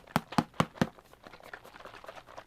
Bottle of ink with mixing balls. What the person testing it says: haven't broken the balls yet